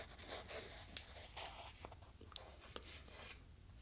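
Two small, solid, light-coloured wooden cubes are held in the fingertips and slid and rubbed against each other close to a binaural microphone. Soft, bright scraping swells rise and fall, broken by four short, dry clicks where the blocks knock together, over a steady low hum.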